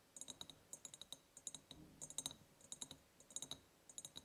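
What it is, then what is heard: Ribbed glass jar tapped with fingernails. Long painted nails tap rapidly on an empty, ribbed, clear glass jar. The result is quick bursts of bright, clicky taps with a high glassy tone around 3.8 kHz. Each tap dies away almost instantly, leaving soft pauses between the clusters.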